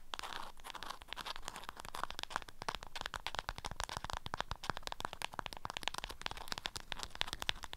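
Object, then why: Beeswax-coated cotton wrap around a small object. Long nails scratch the waxed cotton surface of an orange-print beeswax wrap bundled around a small object and held in one hand. A quick, steady run of bright, crinkly scratches and crackles carries on, each stroke dying away almost at once, with a soft low rumble underneath.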